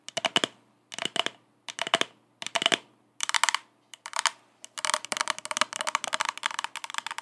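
An empty purple plastic party cup, held upside down, is tapped and scratched with long acrylic nails. Quick bright clicks come in short rhythmic bursts, then build into denser, faster tapping and scratching with a hollow plastic ring.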